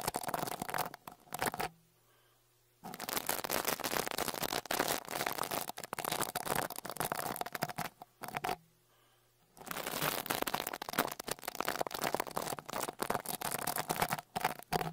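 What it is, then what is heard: Brush scraped over a metal mesh microphone grille. A small dark rat-tail brush with a wooden handle is brushed over the metal mesh grille of the left X-Y microphone capsule on a Tascam Portacapture X8 handheld recorder. Dense, scratchy bristle strokes fill the air with broad, bright friction noise and a steady midrange tone, stopping twice for about a second of near-silence before resuming.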